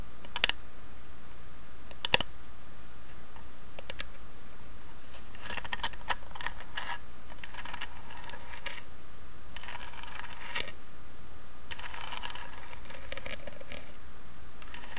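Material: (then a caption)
Wood. Long fingernails tap and scratch the carved lid of a small hollow wooden box with an inlaid tree design. Sharp, bright clicks come early, then quieter bursts of dry scratching and light tapping over a steady low hum.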